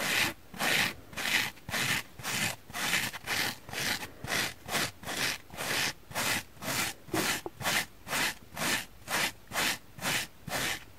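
A palm-sized, oval, dry yellow porous foam sponge, solid, is held in the hand and scratched with long painted fingernails. The result is a steady series of bright, hissing rasps, about two per second, each separated by a brief quiet gap.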